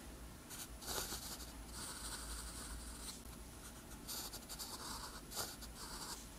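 A metal pen nib scratches across a flat, thin sheet of lined white paper while writing green-ink characters. Bright, dry scratching strokes come in bursts over a steady low hum.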